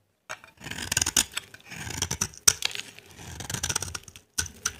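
A solid, dry, cream-white bar of soap held in the hand has its face scraped with a utility knife blade, shaving off dry flakes. The clip is a run of crisp, bright scratching and scraping strokes with short gaps between bursts, mostly high-pitched hiss with very little low end.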